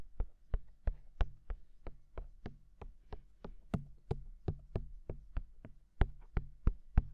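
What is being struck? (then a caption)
Silicone microphone ears. Fingertips tap steadily on the white silicone dummy ears mounted on a black binaural microphone, giving 22 soft, dull, low thumps that die away almost instantly. The taps come at a slow, even pace of about one every third of a second, with faint low rumble between them.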